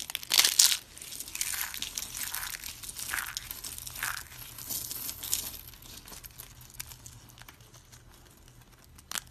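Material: Soap.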